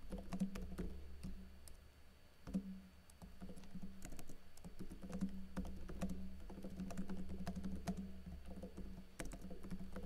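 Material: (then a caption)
Plastic. Fingers with blue-painted nails type rapidly on a plastic backlit laptop keyboard with plastic keycaps, producing a dense stream of light, crisp key taps. A steady low hum runs beneath the tapping, which briefly slows and softens before resuming at a quick pace.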